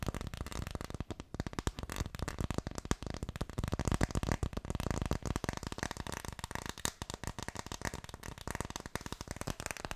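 Fingertips tap rapidly on an Ideal of Sweden phone case, making a dense, continuous stream of soft, dull taps. The taps are short and dry with little ring, and most of their weight sits in the low range with only a faint bright edge.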